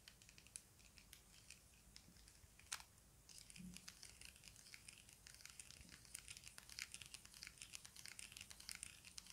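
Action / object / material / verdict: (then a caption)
tap / small plastic puzzle cube / plastic / none. A small hollow plastic stickerless Rubik's-style speed cube with blue textured faces is held in both hands and tapped and scratched with fingertips and nails. Soft, bright clicks and crackly scratching come in a dense, quiet stream, with a few sharper taps standing out. The busier scratching fills the second half of the clip.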